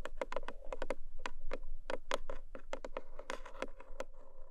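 Long manicured nails of both hands rapidly tap the top of a long, narrow, black lidded cardboard gift box with a textured paper surface, probably hollow with unknown contents. The taps come as quick, irregular, dry clicks with a faint hollow mid tone and almost no ring, blending into a steady patter.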